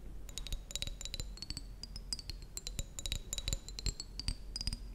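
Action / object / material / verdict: tap / small glass jar partly filled with water / glass / none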